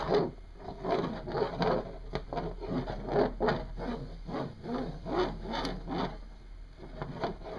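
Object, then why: Small hematite magnet on a wooden desk. A single small, solid, oval, dark metallic hematite "sizzle" magnet, set in motion by hand, spins and rattles across a wooden desk top. It makes a repeated buzzing, rasping rub against the wood, with short swells of sound and a low hum underneath.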